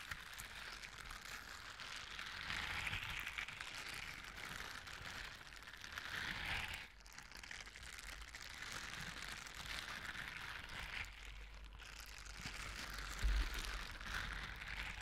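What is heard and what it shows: Hands in blue silicone scrubber gloves with bristle pads rub the gloved fingers and bristle palms together close in front of a microphone. The result is a quiet, continuous crinkly brushing and scratching texture, brightest in the upper mids, with a steady low hum underneath. The rubbing briefly dips around 7 and 12 seconds, and a soft thump lands near 13 seconds.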